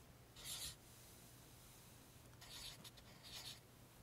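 A pink felt highlighter is rubbed along printed rows of an open paperback guide whose pages are flattened by the left hand. Three short, dry, bright felt-tip-on-paper strokes stand out over a quiet, steady low hum.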